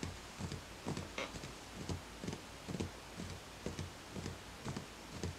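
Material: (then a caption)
Ceramic. Fingertips tap the outer wall of a small speckled beige ceramic plant pot, filled with soil and a small green plant, standing on a white stack. The result is a steady series of soft, short, dull taps with a brief bright click, over a low hum.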